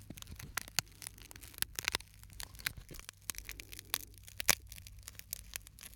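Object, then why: Small glass shard. A small, flat, clear fragment of broken glass is held between the fingertips of both hands close to the microphone, rubbed and scratched by the fingers and possibly against other shards. The result is a quiet, dense run of bright, dry crackles and sharp little ticks over a faint low hum, each click dying away instantly.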